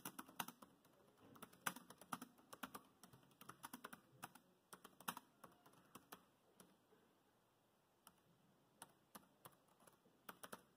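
Fingertips of both hands type fast on a dark grey plastic laptop keyboard, making dense, quiet key taps. Each tap is a short, dry click with a bright, high edge and almost no low end. The bursts thin out into a brief lull about two-thirds of the way through before a few scattered taps return.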